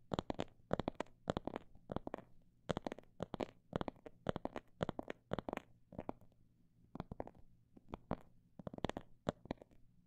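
Tapping on a phone bag made of imitation snake skin produces a run of quick, dry, short taps with some faster bursts and brief pauses between them. A faint low hum sits beneath the taps throughout.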